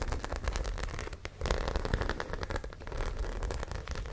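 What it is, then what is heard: Studded fabric pouch. Long nails scratch and tap the studs of a white studded zippered fabric pouch held beside the mic. A dense run of crackling scratches and quick clicks goes on without pause, carried over a heavy low rumble. The taps are short and dry, with almost no ring.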